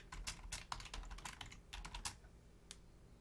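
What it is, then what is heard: Plastic computer keyboard. Long-nailed fingertips type on a black plastic Logitech full-size keyboard with a hollow shell and membrane keys. It makes a quick, irregular run of about fourteen clicky, bright taps over a low steady hum. The tapping thins out to a single last tap near the end.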